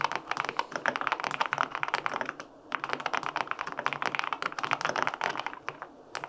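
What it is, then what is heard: Mechanical keyboard typing. Fingertips type rapidly on the plastic keycaps of a white-pink full-aluminum 65% mechanical keyboard with linear switches. The result is a dense run of short, crisp clacks with a bright midrange character. Two brief pauses break the typing.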